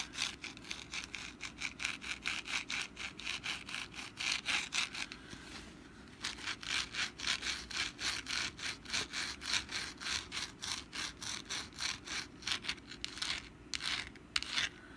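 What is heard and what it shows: Long black nails scratch back and forth across the crinkled, textured surface of a hand-sized, rust-brown papier-mache pumpkin decoration held in the hand. Quick, dry, bright rasping strokes repeat in a steady rhythm at about four per second, with a brief quieter pause near the middle before the scratching resumes.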